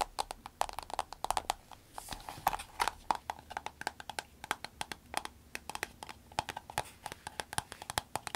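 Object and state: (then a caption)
Vinyl glasses case tapped with nails. A soft green vinyl glasses case is tapped on a table, then lifted, squeezed and tapped with long nails. Quick, dry clicks with a hollow tone near 880 Hz patter irregularly throughout, each dying away almost instantly. A brief, brighter crinkling swell of squeezing rises around the two-second mark.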